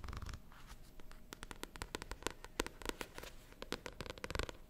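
A paperback novel with a glossy paper cover, held upright, is tapped and scratched on the cover with long nails. Quick, dry clicks and taps come in irregular bursts over soft scratching, with a faint steady tone underneath.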